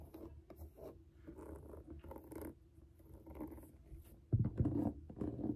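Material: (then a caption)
Suede. Long nails scratch the upper of a grey suede high-top sneaker with a rubber sole and mesh side panels as it is held and lifted by hand. Soft, low, rough scratching strokes repeat quickly and unevenly, with faint bright hiss above. They grow noticeably louder and fuller near the end.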